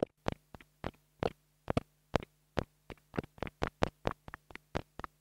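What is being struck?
Plastic mini lavalier microphone tapped with a wooden stick.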